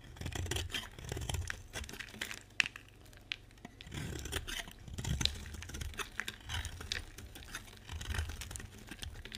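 A solid pink bar of dry soap, held in the hand, is scraped and cut with a metal utility knife blade while pink shavings pile up nearby. Dry, scratchy scraping and crisp tearing strokes come in repeated bursts over a low rumble, with a sharp bright click standing out near the middle.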